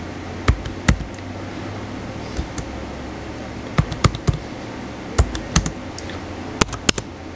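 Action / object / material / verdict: tap / plastic laptop keyboard / plastic / none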